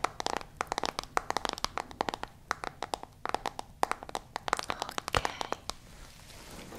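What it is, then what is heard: Smartphone screen tapped with fingernails. Long nails tap rapidly and irregularly on the lit screen of a smartphone in a white case, making a dense run of sharp, dry clicks with a bright edge and almost no low end. Each tap stops instantly, and the tapping thins out toward the end, leaving a faint hiss.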